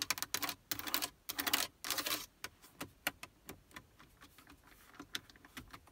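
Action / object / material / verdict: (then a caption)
tap / hard plastic car stereo and climate control panel with push buttons / hard plastic / none. Long acrylic nails and fingertips tap and press the small plastic push buttons (radio presets, temperature, A/C) on the hard plastic faceplate of a Toyota Prius dashboard center console. Dense, rapid bursts of bright, crisp clicking come first, then thin out into a looser run of separate sharp taps that fade quickly.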